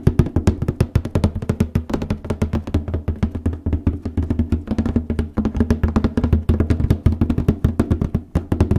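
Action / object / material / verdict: tap / cardboard paper box lid / cardboard / none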